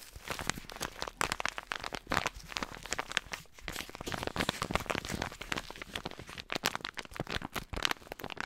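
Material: Foil, paper.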